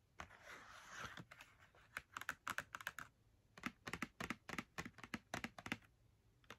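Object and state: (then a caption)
Cardboard marker box. A small, hollow Crayola cardboard box holding 10 markers is held in one hand while long red nails tap rapidly on its front face. The result is a quick, irregular run of sharp, dry clicks with a bright papery tone and almost no ring. It opens with a brief soft rustle, then the taps come in uneven bursts.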